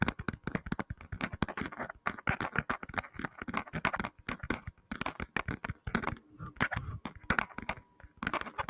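A black tablet in a flat, hollow-backed hard plastic case is held close to the microphone and tapped rapidly with fingertips and short nails. The result is a dense, irregular run of dry, clicky taps with a light hollow thump underneath, each one stopping instantly with no ring, continuing for the whole clip.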